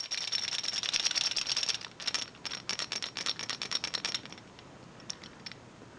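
An old-style Wooden Railway Gordon toy engine is shaken, and its wooden bogies rattle against the wooden body with a pleasant wood-on-wood sound. Bright, dry clicks clatter rapidly for about four seconds, then thin out to a few scattered taps before stopping.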